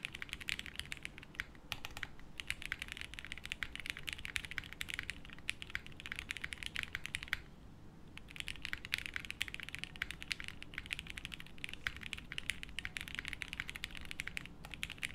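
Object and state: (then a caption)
Mechanical keyboard with plastic keycaps. A 60% mechanical keyboard with beige doubleshot plastic keycaps, a light case and no plate sits on a felt desk mat and is typed on continuously with the fingertips of both hands. The result is a dense, steady run of short, bright plastic clacks with a soft low thud beneath. There is a brief pause near the middle before the typing resumes.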